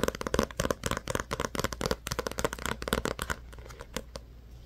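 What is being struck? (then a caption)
Paperback book with card cover. Fingertips and nails tap and scratch the glossy card cover and edges of a small paperback book held in both hands. A quick, irregular run of dry, papery taps and short scrapes follows, then thins to a few soft taps over faint hiss near the end.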